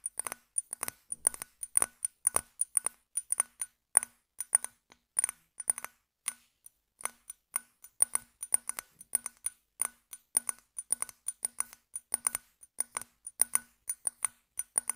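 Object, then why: Glass bottle. Fingernails tap and scratch across the surface of an apparently empty brown glass bottle held sideways. Dense, irregular clicks follow one another rapidly, each very short and dry with a bright, glassy high tick. Faint scraping is heard between the taps.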